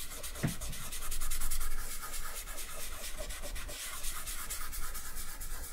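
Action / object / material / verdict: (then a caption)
scrape / sheet of drawing paper with charcoal on a wooden table / paper / none. Bare fingertips rub back and forth across a flat sheet of drawing paper covered in charcoal, lying on a wooden table, blending the charcoal. A steady, soft, dry rubbing hiss with loosely rhythmic strokes swells briefly in the middle and stays quiet throughout.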